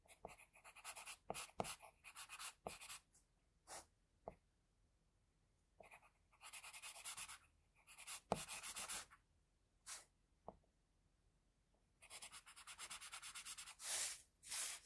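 A pencil scratches across a flat sheet of drawing paper while shading the face area of a drawing. Bursts of bright, dry scratching come in quick back-and-forth strokes and longer continuous passes, separated by short silent pauses. The sound stays quiet and close throughout.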